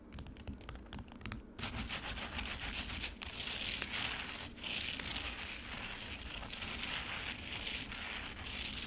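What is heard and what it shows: Long nails scratch the grainy, icy surface of frozen lemonade in a black plastic tray. Sparse, quieter scrapes at the start give way after about a second and a half to steady, bright, gritty crunching and rasping that stays mostly in the high frequencies.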